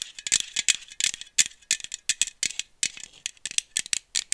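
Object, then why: Small aluminum bottle with screw cap. A small aluminum iced-coffee bottle with a screw cap is held in one hand, tapped with long nails and shaken. It gives a quick, irregular stream of sharp, bright rattling clicks with almost no low end.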